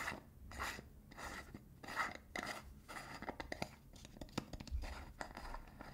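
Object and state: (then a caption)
Metal hair wax tin lid. Fingers scratch and tap the rim of the blue metal lid and the body of a small cylindrical got2b hair wax tin held in one hand. Soft, broadband scratching swells come first, followed by a run of sharp, dry metallic taps and clicks with almost no ring.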